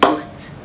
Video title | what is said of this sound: Spot Fake Gray Nicolls Vapor 1.3 Cricket Bat | hollow sound it's not a full sound